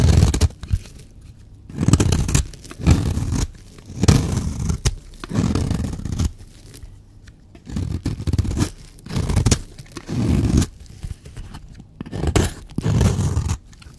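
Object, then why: Bar of soap cut with a blade. A blade cuts and scrapes a solid, dry yellow bar of soap. It makes repeated bursts of dull, crunchy, tearing scrapes, mostly low in tone, separated by short quiet pauses.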